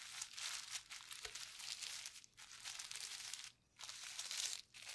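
A flat, clear plastic bubble wrap sheet with hollow bubbles and mixed paint lies on a table while gloved fingertips press, rub and pinch the bubbles. The result is a bright, dense crinkling and crackling texture with quick crisp pops. A few brief near-silent gaps break the sound, the longest near the end.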